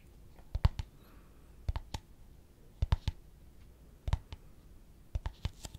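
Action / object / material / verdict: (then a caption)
tap / small empty plastic cup / plastic / none. A small, clear, translucent, empty plastic cup is held in both hands and tapped with the fingertips and nails. Short, dry clicking taps come in about five loose clusters of two to four hits each, separated by quiet pauses. Each tap is brief and bright, with a soft low thump underneath.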